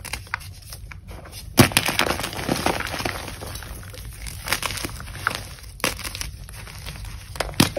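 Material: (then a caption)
Chalk. Broken chunks and powder of a gym chalk block (magnesium carbonate), solid and crumbly, sit in a bowl and are squeezed and crushed in the palms and fingers with long pink nails. A steady, dry, powdery crunching and crumbling runs throughout, broken by sharper, brighter snaps near the start and at the end.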